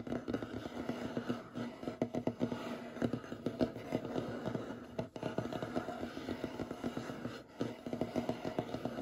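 Short fingernails scratch and rub across a large, solid, light wooden tabletop. The result is a steady stream of quick, dry scraping strokes and taps with a warm, dull mid-range body and little brightness. The sound briefly dips near the five- and seven-and-a-half-second marks.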